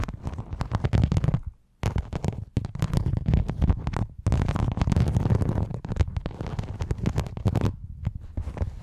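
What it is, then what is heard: Rhinestone mesh sheet. A sheet of silver rhinestone mesh fabric is draped over a microphone while long nails scratch along its studs. The result is dense, rapid bursts of scratchy crackling with a heavy, muffled low rumble, broken by brief pauses.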